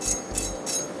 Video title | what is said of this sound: Air Fryer Chicken Wings and Football Food- Dinner Reinvented | Look how crispy! Can you hear how crispy?